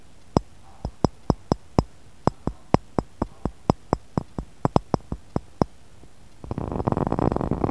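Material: Glass.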